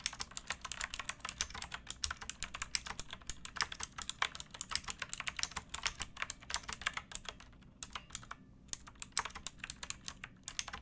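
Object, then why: Mechanical keyboard with plastic keycaps. A pink backlit mechanical keyboard with plastic keycaps is typed on with both hands, fingertips and nails. This produces a steady stream of quick, bright clacks with very short decay and occasional brief pauses, over a faint low hum.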